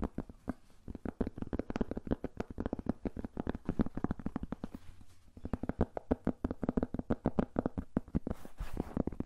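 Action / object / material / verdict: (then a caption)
tap / cork coaster / cork / none. A thin, solid, round flat cork coaster is held beside and in front of a furry microphone and scratched and tapped with fingertips and nails. The result is a dense stream of soft, dry, muffled taps and scratches with very short decay and a low, woody body. There is a brief quieter pause around the middle before the rapid tapping resumes.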